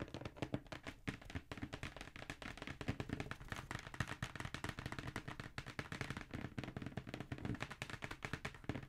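Fingertips and nails tap rapidly on the lid of a hollow black Jordan cardboard shoe box held upright. The result is a dense, steady stream of short, dry, hollow knocks with a low, boxy thud and almost no ring.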